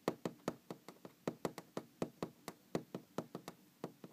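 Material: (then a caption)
Wood. Fingers knock and tap on a wooden object in a quick, uneven series of about 20 dry hits. Each knock has a hollow, mid-pitched body near 320 Hz with a brief bright click on top and dies away almost instantly, leaving quiet gaps between the taps.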